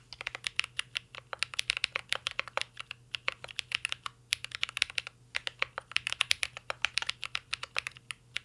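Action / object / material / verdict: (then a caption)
tap / mechanical keyboard with metal case and plastic keycaps / plastic, metal / none. Fingertips of both hands type continuously on a mint green Cyberboard R3 mechanical keyboard with a metal case and plastic keycaps. The result is a steady stream of sharp, bright keystroke clicks with short pauses and almost no low end beneath them.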